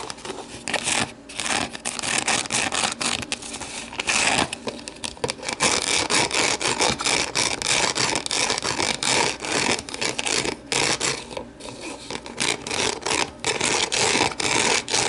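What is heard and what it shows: Long nails scratch and scrape the walls and rim of an empty, hollow, translucent plastic deli container held on its side. It makes a dense, continuous run of bright, dry scratching and rubbing with almost no low end. Brief pauses and changes in strokes let the level dip and rise throughout.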